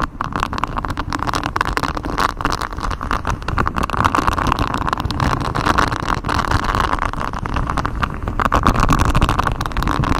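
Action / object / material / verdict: scrape / textured silicone microphone cover / silicone / none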